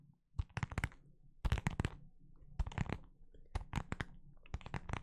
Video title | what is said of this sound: ASMR rambling with tapping sounds ( ͡° ͜ʖ ͡°) | Just kind of a plasticky plastic sound